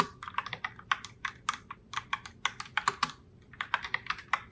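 A pink Logitech Pop Keys mechanical keyboard in Heartbreaker Rose, with round plastic keycaps, is typed on continuously by fingertips with long nails. About 26 sharp, clicky keystrokes follow in a quick, uneven rhythm, each bright and dry and centred around 1.2 kHz. Every stroke dies away almost at once.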